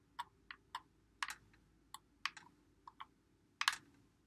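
A white Xbox One controller with a hollow plastic body is held in both hands while fingertips press and click its buttons and thumbsticks. A quick, irregular series of sharp, dry plastic clicks rings out, some in close doubles and clusters. Each click is bright and short with almost no ring, over a faint low background hiss.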